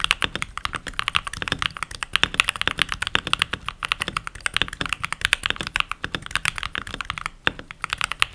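Fingertips with short nails, and rings on the fingers, type continuously on a full-size backlit mechanical keyboard with pink plastic keycaps. It makes a rapid, steady stream of crisp, bright clacks, centered around 2.6 kHz with little low end. Each key press is a sharp click that dies away almost instantly.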